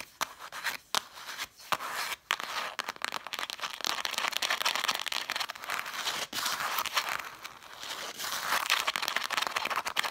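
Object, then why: Stack of cloth-bound book spines scratched and tapped with fingernails. Long dark nails tap and scratch along a stack of red cloth-bound book spines with gilt lettering. The result is a dry, bright, near-continuous texture of crisp scratches and quick taps, with no low end and almost no ring after each contact.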